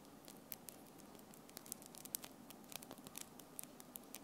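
Long acrylic French-tip nails, small and solid, tap and click against each other from both hands close to the recorder. The result is a quiet run of sharp, bright clicks at an uneven pace, each dying away instantly, over a soft hiss.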